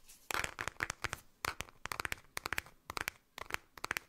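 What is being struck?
Small round plastic container.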